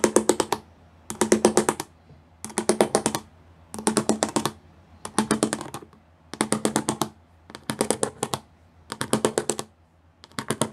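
Fingertips and nails of both hands tap rapidly on a grey plastic sheet covered in pyramid studs. The sound comes as nine short bursts of quick, crisp, bright clicking with a slight hollow plastic resonance, separated by brief pauses of near silence.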